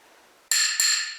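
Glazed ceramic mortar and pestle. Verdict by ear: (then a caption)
Sound. An old glazed mortar and pestle from a 1900s pharmacy, said to contain mercury and lead so it is now only decorative, is tapped twice. Each tap gives a bright, high ringing clink that sustains briefly. The clear ring shows it is not cracked.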